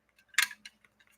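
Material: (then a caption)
Ceramic. A vintage sewing machine foot controller that arrived damaged is tapped open, giving a bright, short clinking rattle of broken ceramic. Inside, the white ceramic base that supports the speed-regulating electrical coils is cracked near the bottom, leaving the controller compromised.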